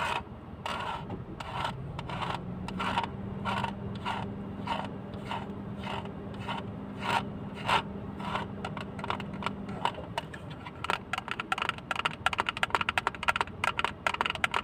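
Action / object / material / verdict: scrape / small plastic hinged box / plastic / none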